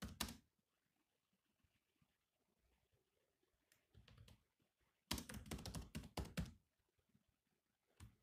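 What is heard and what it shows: Fingertips type on the low-profile plastic chiclet keys of a grey metal-bodied laptop. Short, clicky taps come in scattered bursts with quiet gaps, including a dense flurry of keystrokes in the middle. Each tap has a dull low thud with a bright click on top.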